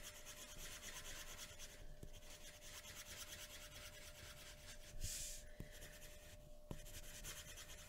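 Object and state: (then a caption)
Paper drawing sheet. A pencil tip scratches and rubs across a flat white paper drawing sheet resting on a wooden table, making shading strokes. A steady, bright, rhythmic rasp continues throughout, with a faint constant tone underneath. A few brief sharp ticks and a louder burst of scratching occur near the end.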